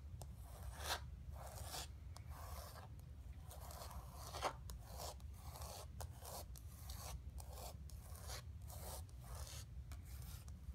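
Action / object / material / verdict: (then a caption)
scrape / painted canvas board / canvas / none. Fingertips and long nails rub and scratch the painted surface of a flat painted canvas board resting on carpet. The result is a quiet, steady run of dry, rasping scratch strokes, with brief brighter scrapes standing out over a low, dull rumble.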